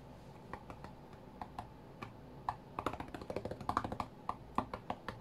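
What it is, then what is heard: Glass-screen tablet tapped with fingertips. Fingertips of both hands tap on the glass touchscreen of a flat white iPad, producing about twenty short, dry clicks in an uneven rhythm that grows busier in the second half. Each tap is a soft midrange knock around 1 kHz that dies away almost instantly over a faint steady hiss.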